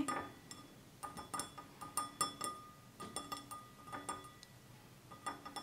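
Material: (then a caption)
Glass. A hand-sized, apparently empty, clear stemless wine glass with a red band near its base is held in one hand and tapped with the fingertips and short nails of the other. About 18 quiet, separate clinks come in uneven clusters, each with a clear ring near 1.2 kHz and bright overtones that fade within a fraction of a second.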